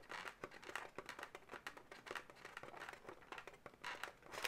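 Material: Latex.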